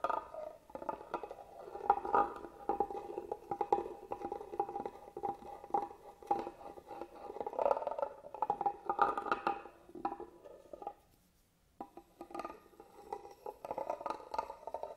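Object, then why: Carved wooden box. A small black tool scratches along the carved grooves of the lid of a hollow, hand-carved wooden box held upright. The result is a dense, steady run of dry, rasping scratches with a faint mid-pitched tone. A brief pause falls near the eleven-second mark before the scratching resumes.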